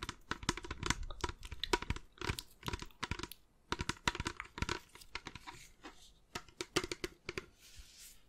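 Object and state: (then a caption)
Plastic soda bottle. A clear, mostly empty plastic carbonation bottle of about 1 litre, with a black cap and black base, is held in both hands and tapped and scratched along its sides with long nails. Quick, dry, crinkly taps and clicks come in rapid bursts with a brief lull partway through. It ends in a soft scratching hiss.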